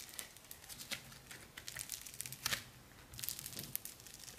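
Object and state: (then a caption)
Foam bead modelling clay being squeezed. A palm-sized lump of soft, solid orange foam bead modelling clay made of tiny polystyrene beads is held in both hands and squeezed, pulled and kneaded with the fingers. It gives off bright, dense crinkling and crunching crackles with a few sharper pops.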